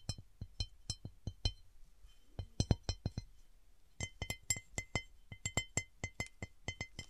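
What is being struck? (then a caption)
Cut glass serving platter. Long nails tap and scratch the deeply textured starburst pattern of an empty, tilted, large round cut glass serving platter. A steady series of short, sharp clicks with a low thud underneath is followed by a denser run of taps with a brighter glassy ring. Each tap dies away almost instantly.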